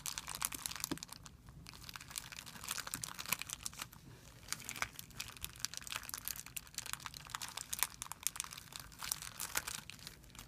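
A thin, clear, soft plastic film bag lying on a white surface is gathered and crumpled by fingertips with short nails. It makes a steady, quiet run of bright, crisp crinkles and snaps, with almost no low end and no ring after each crackle.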